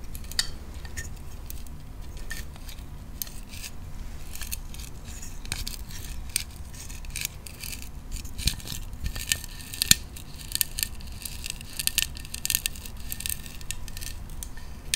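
A small hollow plastic play-food burger, with bun, lettuce and patty parts, is held in the hands and tapped with fingernails. Quick, irregular, sharp plastic clicks with a bright, high tone die away almost instantly. The taps sit over a steady low rumble and grow denser and louder toward the end.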